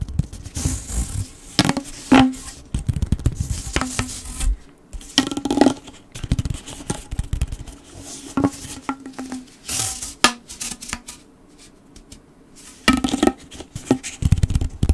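A blue corrugated plastic pop tube is bent into an arch while fingertips scratch and squeeze its ribbed surface. Bursts of dry, crackly scratching and soft ribbed clicks come and go over a faint steady hum, with brief quiet gaps between.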